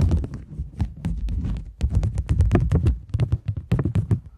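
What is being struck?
Polymer plastic banknote.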